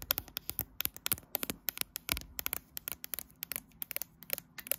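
Long light-blue fingernails scratch and tap the right edge and glass back of a graphite smartphone with a metal frame, held in a tripod clamp. A rapid run of sharp, bright clicks and short scratches, mostly high-pitched with little low end, each dying away almost instantly.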